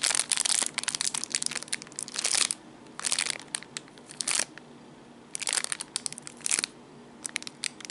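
A small clear plastic bag wrapped around a black cable bundle is pressed, rubbed and crinkled by fingertips and nails. Bursts of bright, crackling plastic crinkle come in clusters separated by short quiet pauses.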